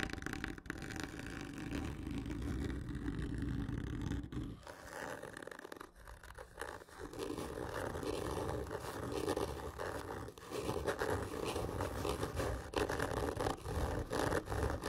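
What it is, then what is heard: Cardboard tube being scratched. Long fingernails on both hands scratch hard and slow across a large, hollow, black printed cardboard whisky gift tube lying horizontally. The result is a steady, rough scraping with a low, hollow body. It eases briefly in the middle before building back to dense, intense scratching.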